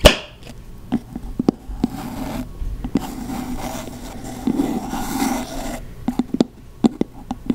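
Long nails tap and scratch the top of the solid, light wooden lid of a candle jar held close to the mic. Sharp, dry taps are scattered at the start and end, with a stretch of continuous, raspy scratching in between.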